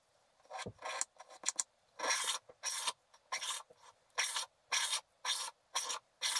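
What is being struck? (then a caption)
Wax-coated scratch art paper scraped with a wooden stylus. A wooden stylus scrapes broadly across a flat sheet of black wax-coated scratch art paper, piling up wax flakes. A series of short, bright, raspy strokes is heard, quick and uneven at first, then steadier, with brief silences between and no low end.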